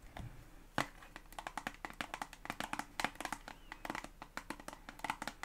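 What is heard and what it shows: Long acrylic nails tap a white and green soft plastic toothpaste tube, hollow and filled, held across both hands. Around thirty quick, dry clicky taps come in an uneven run, each with a bright tick near 2 kHz that dies away almost at once. A louder tap stands out near the start.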